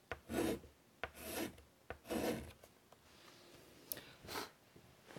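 White chalk held in the fingers is drawn across a large flat chalkboard in a wooden frame resting on a table. Four raspy scraping strokes are heard, each starting with a sharp tap of the chalk on the board. A quieter pause with faint rubbing falls before the last stroke.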